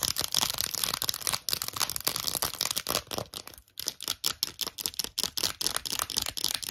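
Long acrylic nails rapidly tap and scratch an empty lilac glossy plastic phone case with gold trim and a ring holder, small and hollow. The result is a dense stream of bright, dry clicks and scratchy rasps, mostly high-pitched, with a brief pause midway.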